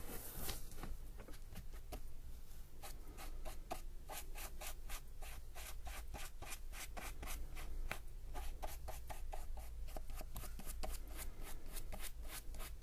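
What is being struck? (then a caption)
Paper sketchbook page. A thin paintbrush loaded with wet black paint strokes and rubs across a flat sheet in a spiral-bound paper sketchbook lying on a table. It makes soft, rapid, repeated brushing swishes with bright, airy edges over a low, steady hum throughout.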